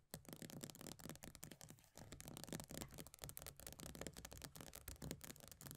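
Long nails rapidly scratch and tap the base of an upside-down plastic body butter tub with a pale green plastic base and a paper label. The result is a dense, continuous stream of quick, dry clicks and raspy scratching, with a soft low thud under each tap and a bright scratchy edge on top.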